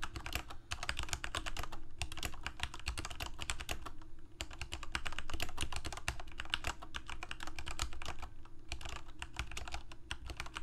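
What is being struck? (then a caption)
Mechanical keyboard with plastic keycaps. Fingertips of both hands type continuously on a Corsair K68 full-size mechanical keyboard with plastic keycaps, Cherry MX Red switches and a backlight, resting on a desk. Rapid, bright plastic key clicks patter over a steady low rumble for the whole clip, with brief pauses near 2, 4.3 and 8.6 seconds.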